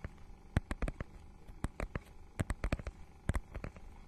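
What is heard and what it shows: Long nails scratch a notebook-sized book's holographic, scale-textured plastic cover, making about sixteen short, dry clicks and scrapes at an uneven rhythm. Each burst is sharp and broadband, dies away at once, and sits over a faint low hum.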